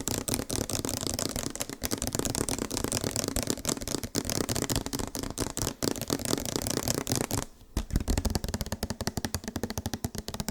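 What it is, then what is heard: Tapped plastic body wash bottle. Fast, steady tapping on a plastic body wash bottle produces a dense stream of sharp, dry clicks with a hollow low-mid body and bright edges. The tapping runs almost continuously, with only a brief pause near the eight-second mark before it resumes.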